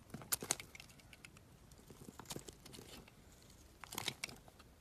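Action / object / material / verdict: scrape / bar of soap shaved with a blade / soap / none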